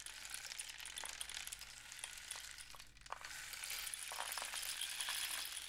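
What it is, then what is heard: Cardboard rain stick. A long, hollow, painted cardboard rain stick with a capped end and filled with loose grains is held in both hands, tilted and rotated so the filling pours inside. It makes a steady, bright, hissing patter of tiny ticks and clinks. The sound thins to a brief lull about halfway through, then swells back up, slightly louder, as the grains pour again.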